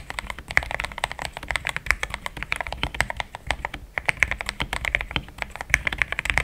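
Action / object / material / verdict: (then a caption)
tap / mechanical keyboard with plastic keycaps / plastic / none. A compact pink-and-white plastic mechanical keyboard with thick plastic XDA keycaps, a polycarbonate plate and linear switches sits on a desk mat and is typed on fast with the fingertips of both hands. Dense, rapid clacky keystrokes run throughout, each one short and bright with a midrange clack and almost no ring.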